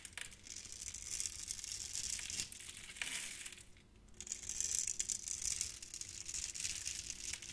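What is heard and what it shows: A utility knife blade carves and scrapes crunchy cubes off a hand-sized solid orange soap bar that is scored in a grid pattern and held in the palm. The result is a steady, bright, crisp crackling and crunching with almost no low end, easing briefly into a quieter stretch near the middle before the scraping picks up again.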